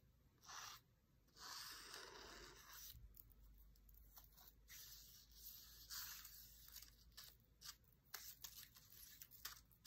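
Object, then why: Paper book page with a dry reed stem. A dried reed stem is traced across and tapped on an open paper cookbook page, making bright, papery rubbing and scratching swishes. Several soft, sharp taps land toward the end. The stem is then lifted away, leaving the same page in place.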